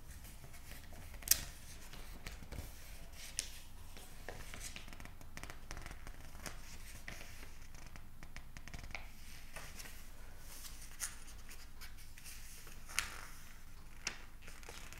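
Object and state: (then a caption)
Glossy paper magazine. A glossy paper psychology magazine lies on a desk while its pages are riffled, flicked, turned and squeezed with the thumb and fingertips. Soft papery rustling and scratchy page movement run throughout over a quiet low rumble, broken by occasional sharp, bright page snaps that die away almost instantly.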